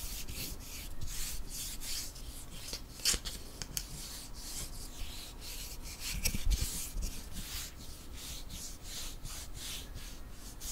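Fingertips and nails rub and scratch along a long, flat, solid light-wood ruler, with a few light taps. The result is a steady run of bright, raspy scraping strokes, broken by a couple of sharper, short taps over a low background rumble.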